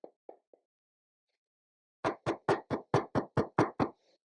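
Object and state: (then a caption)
Hollow-sounding plastic phone back. Taps on the plastic back panel of a Samsung Galaxy A14 5G: three faint taps, a pause, then a run of nine louder, quick, evenly spaced knocks. The taps have a short, hollow, boxy tone, and the back sounds hollow, adding to the phone's cheap, boxy feel.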